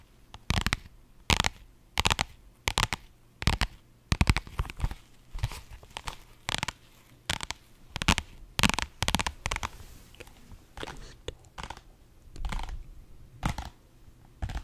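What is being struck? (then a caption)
Padded vinyl faux-leather pouch. Long nails scratch and tap the flat face of a pink holographic, iridescent faux-leather vinyl pouch, a soft padded case. Short, sharp bursts of crinkly, scratchy sound with a soft low thump come in an irregular rhythm, each cutting off almost at once against a quiet background.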